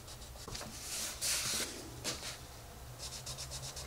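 A wooden colored pencil, held in a hand with long red nails, shades a rabbit picture on the page of an open paper coloring book lying flat on a table. The repeated strokes make a soft, bright scratching and rubbing that rises to a louder, hissier burst partway through, then settles into lighter strokes.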